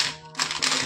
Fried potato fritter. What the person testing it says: শুধু আওয়াজটা শোনো কতটা মুচমুচে হয়েছে